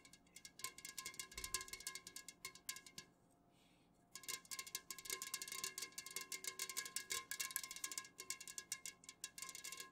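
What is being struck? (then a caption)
Full metal beverage can tapped with fingernails. Long natural fingernails of both hands rapidly tap and scratch a tall, unopened metal can of Jumex guava nectar, full and standing upright on a fuzzy pink cloth. The result is a dense stream of bright, short, dry clicks and scratchy ticks with a faint metallic ring. The taps stop for about a second near the three-second mark, then resume.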